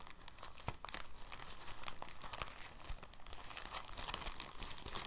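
A clear, thin, soft plastic bag is rolled up on a table under the fingertips. It gives a continuous stream of quiet, bright crinkles with sharp high crackles that grow busier toward the end.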